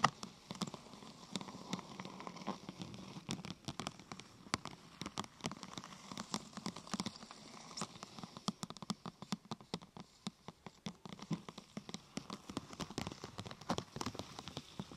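Light fingernails tap quickly and irregularly on top of a thin, glossy purple plastic sheet curved into a hollow half-tube. The result is a soft, rain-like patter of short, dry clicks with a faint ring around 1.2 kHz over a quiet bed of hiss.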